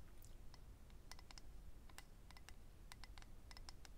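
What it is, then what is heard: Clear acrylic eyelash case. A small, hollow, rectangular clear acrylic eyelash case holding rows of lash strips is held in hand and tapped and scratched with medium-length natural nails. Quick, bright, clicky taps come in irregular bursts over a steady low rumble, each tick dying away almost at once. The overall sound is quiet.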